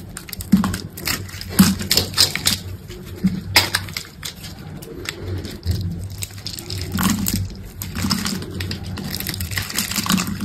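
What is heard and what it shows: A solid green bar of soap is held in the hand while a utility knife blade cuts small cubes and scrapes them off. The result is a run of crisp, bright scraping and slicing sounds with soft crumbling thuds, set over a low steady hum.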